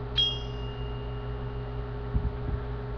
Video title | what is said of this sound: Different tsuba sounds | Even with cutouts, this steel tsuba has a really high pitched ring. So let's listen to this one again.